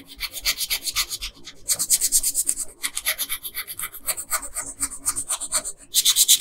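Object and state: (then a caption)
Colored pencil rubbing on paper. A pink colored pencil rubs back and forth on a flat paper coloring page along the dress hem. It makes a rapid series of bright, dry, scratchy strokes with little low end, growing louder in bursts toward the middle and the end.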